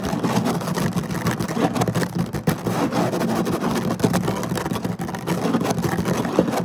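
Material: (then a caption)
Synthetic fibre. Both hands scratch quickly across the surface of a flat woven synthetic-fiber placemat with short nails and fingertips, in rapid bursts. The result is a dense, continuous rough scratching with a steady level and a low, rumbling body, much like an idling engine. There is little bright content.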